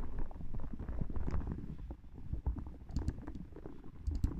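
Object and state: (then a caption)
Spiky rubber massage ball. A small, hollow, soft yellow rubber spiky massage ball is squeezed and rubbed by fingertips and long nails while pressed on top of a microphone. The result is a close, muffled rumble of low thuds and rubbery scraping, with a few short, bright clicks near the end.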